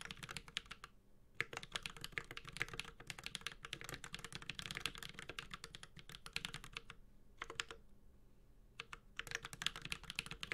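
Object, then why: Mechanical keyboard with aluminium case and plastic keycaps. A 65% Space65 Cybervoyager mechanical keyboard with an aluminum case, plastic keycaps and Holy Panda switches is typed on with the fingertips of both hands. Bursts of quick, bright, clacky key taps have a short low thock beneath them. Brief pauses fall near 1, 3, 7 and 8 to 9 seconds, and each tap dies away almost instantly.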